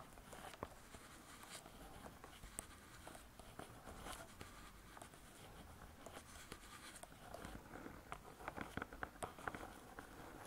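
Long nail tips tap and scratch the laminated board cover of a closed spiral-bound hardcover cookbook. Soft, dry clicks with short, bright scratchy edges come over a low steady hush, grouping into quicker clusters of taps toward the end.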